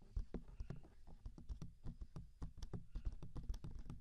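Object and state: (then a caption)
Silicone ears of a binaural microphone. Fingertips tap and rub the two soft, hand-sized silicone ear shapes with hollow ear canals on a 3Dio binaural microphone while both hands cup them. The result is a quick, uneven run of soft, muffled, low thumps with very short decay, mixed with faint rubbing between the taps.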